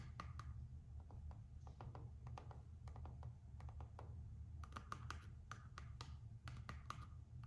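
Long acrylic nails scratch, rub and tap the floral-print coated canvas strap of a single Gucci slide sandal held in the hand, above its rubber footbed. A quick run of short, bright clicks and scratchy strokes rises over a steady low hum.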